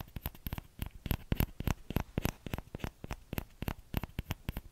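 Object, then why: Small plastic ladle. Short nails and fingertips tap the hollow bowl of a small orange plastic ladle. The quick, unevenly spaced taps come about three per second, each a dull low knock with a faint bright click that dies away almost at once.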